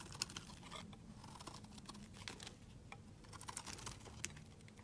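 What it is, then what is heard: Bar soap being shaved. A utility knife blade scrapes curled shavings off a solid pink rectangular laundry soap bar held in hand. It makes a steady run of quick, crisp, bright scraping ticks and rasps over a faint low rumble. Each stroke dies out almost instantly.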